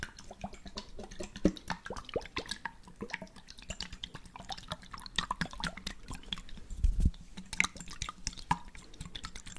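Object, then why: Small glass jar with water. A small glass jar, partly filled with water and closed with a blue checkered lid, is shaken so the water sloshes while fingertips tap on the glass. The result is a dense run of quick, bright clicks and drip-like plinks over a soft liquid slosh with a low hum near 184 Hz. A few louder knocks stand out around the middle and near the seventh second.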